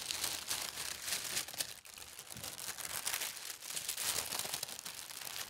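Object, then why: Thin tissue paper sheet. Palms and fingertips with long red nails smooth and rub a thin white tissue paper sheet lying flat, and a corner of the sheet is lifted. A steady, bright crinkling and rustling continues throughout, with brief swells and a short dip in loudness, mostly high in tone with almost no low end.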